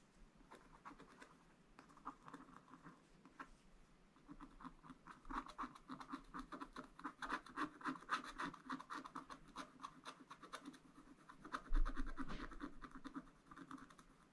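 A wooden stylus tip scratches repeatedly through the black layer of a thin coated scratch-art paper page in a spiral book, near the lower plants. Quick, dry, irregular scratchy strokes come in a soft, rapid patter, growing a little louder in the middle and peaking near the end before fading again.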